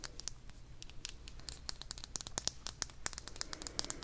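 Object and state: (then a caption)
Vinyl toy figure. A small purple vinyl figure, apparently hollow, is held in one hand and tapped and scratched with long dark-painted nails. The result is a rapid, irregular series of bright, dry clicks and scratchy ticks with no ring after each touch, over a faint low hum.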